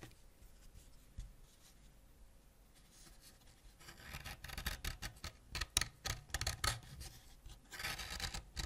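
A white ceramic knife held in the fingers scrapes a solid purple wax crayon flat, building up wax dust. A quiet, hissy start with soft scratches gives way after about four seconds to irregular bursts of dry, bright rasping with short, sharp scrapes and no ring.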